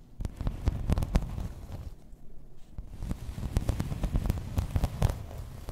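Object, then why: Embossed plastic placemat. Long red nails scratch and tap across a grey embossed plastic placemat lying flat. The sound is a quick, irregular run of short, dull, low thuds over a soft rumbling scratch, with almost nothing in the high range and a brief quieter lull in the middle.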